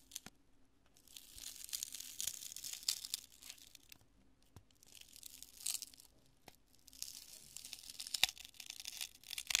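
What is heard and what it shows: A large, solid and porous chunk of cured polyurethane spray foam is held in both hands and crushed and torn with fingers and long nails. It makes bright, dry crackling and tearing in three bursts separated by quieter pauses, with sharp snaps scattered throughout. A faint steady low hum runs underneath.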